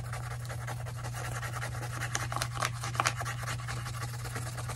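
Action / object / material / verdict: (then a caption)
scrape / paper sketch pad and colored pencil / paper / none. A colored pencil or crayon is rubbed in fast back-and-forth strokes across a white paper notepad, a solid stack of sheets held upright in one hand while the other hand colors. The result is a continuous scratchy, papery rasp of pigment on paper, with brighter, louder strokes standing out around the middle. A steady low hum sits underneath throughout.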